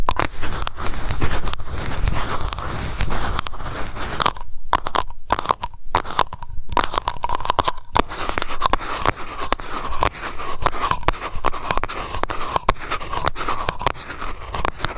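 Long nails scratch and tap the silver metal lid and rim of a small glass candle jar, possibly brushing the glass jar as well. Dense, rapid scraping and clicking runs throughout over a low rumble, with a faint steady ring near 1 kHz and a few brief gaps between about 4 and 8 seconds.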